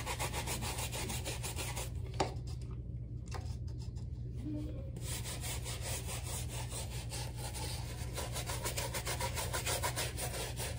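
A black rubber slide sandal with white stripes, held in one hand, is scrubbed with a soapy bristle shoe brush with a wooden handle, working lather over the strap and sole. Rapid, bright, scratchy brushing strokes repeat over a steady low hum. The scrubbing briefly thins out into quieter wet rubbing in the middle before resuming at full pace.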